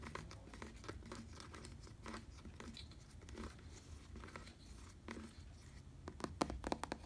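Fingertips tap and scratch on the surface of a black padded synthetic leather bicycle seat. Soft, irregular dull taps and rustling, crinkly scratches continue quietly throughout. Sharper, louder taps cluster near the end.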